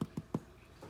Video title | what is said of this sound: A Beginners Guide To Sourdough Bagels | bagels are done when they've got a nice golden top and sound hollow when you knock on the bottom